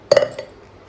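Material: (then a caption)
Dried fruit. Completely dry dates, unlike a sticky earlier batch, are dropped into a jar, giving a couple of quick, knocking clinks. The clicks are bright and short, with a mid-pitched ring near 570 Hz that fades almost at once, followed by a faint second tap.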